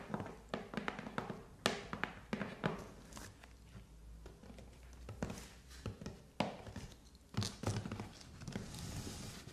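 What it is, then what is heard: Cardboard shipping box. Long nails tap and scratch the front and top of a hollow, taped corrugated cardboard parcel box resting on carpet. Quick, dull taps with short hollow thuds alternate with softer scraping and bright scratchy rustles. The hits die away almost instantly, with no ring.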